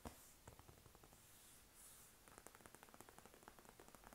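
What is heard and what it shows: Long acrylic nails and fingertips tap and scratch across the padded, soft, upholstered dark green leather armrest of an armchair. A quiet, soft scratching rustle gives way to a quick series of light, muffled taps.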